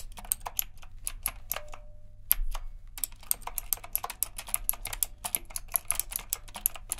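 A retro typewriter-style mechanical keyboard with round plastic keycaps and a metal frame is typed on with index fingers and fingertips, giving fast, bright, clicky keystrokes. The typing pauses briefly near the middle, then resumes in a quicker run, over a steady low hum.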